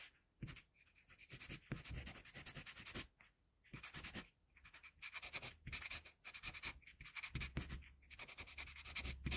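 A wooden HB pencil held in the fingers draws short strokes over a single flat sheet of white drawing paper resting on a board, the sheet already partly drawn. Bursts of dry, bright graphite scratching come in quick rasping runs, separated by brief quiet gaps, over a faint low hum.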